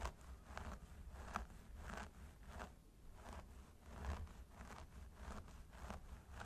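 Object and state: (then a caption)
Synthetic hair on a mannequin head being scratched. Curled fingertips and nails of both hands scratch the scalp of a mannequin training head through its long blonde synthetic hair. Soft, rhythmic scratchy bursts repeat over a steady low rumble, producing a quiet, continuous crackling rustle.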